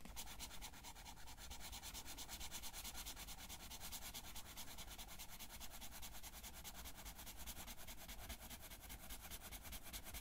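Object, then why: Felt-tip marker on a paper sheet. A blue felt-tip marker rubs repeatedly back and forth over a flat paper coloring page resting on a table, filling in a blue area. The quiet, steady, scratchy rubbing comes in rapid, even strokes with a bright papery hiss over a low rumble, continuing without pause for the whole clip.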